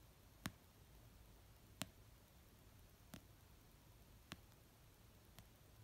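Long painted nails tap the cover of an orange paperback novel resting on a blanket, making five slow, unevenly spaced taps. Each tap is a quiet, sharp, dry click with a bright edge that dies away almost instantly over a low, steady background hush.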